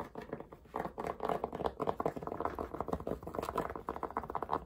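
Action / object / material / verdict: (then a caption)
scrape / cotton fabric baseball cap / cotton fabric / none. Fingertips and nails quickly scratch and tap the brim and front panel of a grey cotton baseball cap worn on the head. The result is a fast, dense patter of short, dry fabric taps and scratchy rustles, centred in the mid-range with little deep or bright content.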